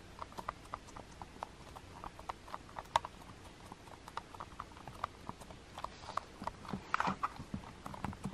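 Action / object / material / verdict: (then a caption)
tap / plastic TV remote with rubber buttons / plastic / none. Fingertips with long painted nails press and tap the white rubber number buttons on a small, hollow black plastic TV remote control. About two dozen quiet, dry, short clicks and taps come in an uneven rhythm, each with a mid-toned knock and almost no ring, with a slightly busier cluster near the end.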